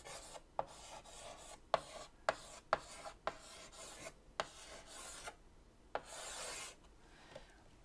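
White chalk held in the fingertips scratches a word across a large, flat, black chalkboard in a wooden frame. Short, bright raspy strokes are broken by sharp little taps as the chalk meets the board, with a longer, hissier scrape near the end. Between strokes there are brief quiet pauses.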